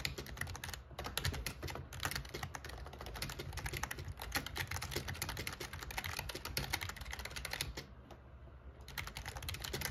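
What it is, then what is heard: Plastic membrane keyboard typing. Fingertips type steadily on the black plastic keycaps of an RGB plastic membrane gaming keyboard with a metal plate, making fast, dense click-clack keystrokes with short, dry decays over a steady low hum. The typing briefly thins out around eight seconds before picking up again.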